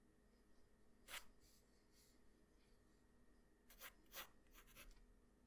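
A wooden graphite pencil scratches lines across a flat white drawing paper sheet. Four short, bright, scratchy strokes stand out: one near the start and three close together near the end, over a quiet, steady low background. Each stroke stops quickly with almost no ring.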